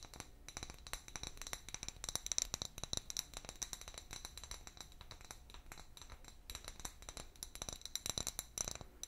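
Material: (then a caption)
Glass. A medium, hollow, empty clear glass bottle with a paper label, held in one hand, is tapped rapidly with long fingernails. The result is a dense stream of quiet, bright clinks and clicks with very short ring, plus some faint rattling and scraping.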